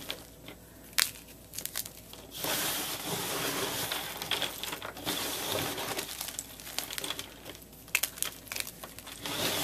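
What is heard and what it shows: A block of solid white and pale yellow gym chalk (magnesium carbonate), in chunks and powder, is squeezed, crushed and crumbled by bare fingers and palms into a powdery pile. Dry, bright, gritty crunching and crinkling is heard, with sharp snaps near the start and end and a sustained sandy crumbling hiss through the middle.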